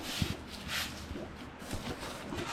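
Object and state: Nothing is struck.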